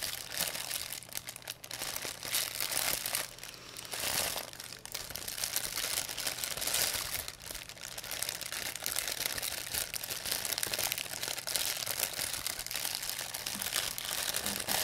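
A thin, empty white plastic pharmacy bag with red and blue print is crumpled and rubbed by fingertips with long nails. The result is continuous bright crinkling and crackling that rises and falls in intensity, with almost no low end.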